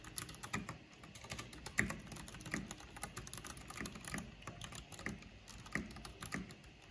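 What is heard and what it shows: Long painted fingernails and fingertips tap quickly across a full-size black plastic mechanical computer keyboard with purple backlight and a hollow housing. The result is a fast, uneven stream of bright, short clicks over a low, hollow-sounding knock, with a few sharper, louder strikes standing out.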